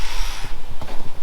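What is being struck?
Nothing is struck.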